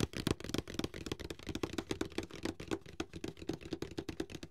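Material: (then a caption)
Cardboard. Fingertips tap the sides and edges of a medium, closed, hollow white paperboard box held upright in both hands. The result is a rapid, uneven series of soft, hollow knocks with a low body and very short, dry decay.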